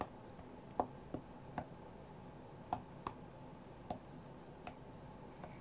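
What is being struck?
Glass tablet touchscreen.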